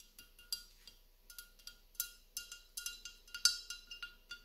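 Fingertips and nails tap and scratch the outer surface of a hollow, gold-flecked mercury glass candle cup resting on a black iron stand. The result is a quick series of light, bright glassy clicks and clinks, each with a faint high ring that fades almost at once.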